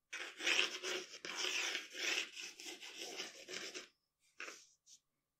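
The graphite tip of a wooden pencil scratches a flat sheet of drawing paper lying on a dark table while drawing details of a portrait. Dry, bright scratching strokes run almost continuously for about four seconds, then stop. After a brief pause come two short, separate strokes.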